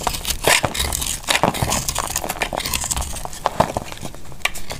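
A small knife scrapes and slices flakes off a solid, dry, powdery pale pink soap bar held in the hand. The result is a steady run of dry, crisp scraping and crackling, with sharp bright cuts standing out from the rustle.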